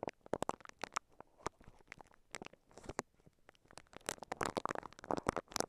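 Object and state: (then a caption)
Plastic wrap brushed with silicone bristles. A microphone covered in clear crinkly plastic wrap is brushed and scratched with the bristles of a pink silicone scalp massager held in both hands. The result is a quiet, dense stream of sharp crinkling and scratchy ticks. Each sound is very short, and the bursts reach up into bright highs.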